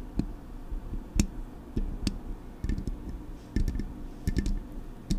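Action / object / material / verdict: tap / metal microphone grille and body / metal / none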